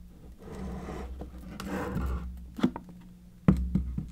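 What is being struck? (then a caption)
Clear acrylic box with preserved roses. Long painted nails scratch and tap across the lid and edges of a medium-sized, hollow, clear acrylic (plexiglass) box filled with white preserved roses. Soft rasping rubs build up before a few sharp, short taps. The taps have a low, hollow tone and a steady hum underneath.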